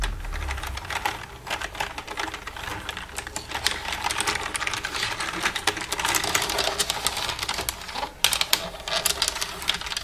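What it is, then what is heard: Plastic computer keyboard. Long red nails tap rapidly across the keys and silver frame of a black plastic computer keyboard. The result is a dense, continuous run of bright, dry plastic clicks with very short decay, plus a faint low rumble at the start and a brief pause near the end.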